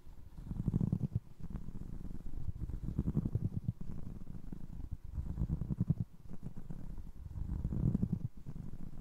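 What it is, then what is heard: Foam resin clog, scratched and tapped. Fingertips scratch the sole of a single navy blue foam resin Crocs clog and then tap the holed side of its upper. The sound is soft, muffled and deep, a dense rustling scrape that swells and fades in slow waves, with quick dull taps mixed in.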